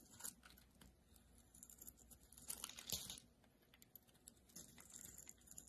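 A solid rectangular blue-and-white marbled bar of soap, held in the hand, is cut into chunks with a metal utility-knife blade. Soft, bright scraping and crisp crunching slices are heard, with a louder, fuller crunch near the middle as a chunk breaks away.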